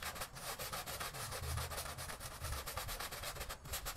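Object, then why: Woven fabric rug. A long-handled green plastic-bristle broom scrubs back and forth across a small, flat, thin woven prayer-style rug that is wet and soapy on a tiled floor. Rapid, steady strokes make a bright, scratchy, wet rasp over a low rumble.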